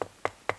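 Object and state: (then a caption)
Hollow rotten dead birch trunk. Three evenly spaced knocks on the trunk of a completely dead, rotten standing birch tree being harvested for its bark. Each knock is short and hollow-sounding, with a mid-range tone and almost no ring. The hollow sound shows how dead and rotten the tree is.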